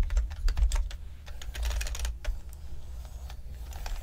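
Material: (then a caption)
Plastic. A full-size black plastic mechanical-style keyboard lying flat on a table is typed on by two people with their fingertips, with repeated tapping and pressing of the plastic keys. Quick clicky keystrokes come in irregular bursts over a steady low hum, with brief bright clacks that die away quickly.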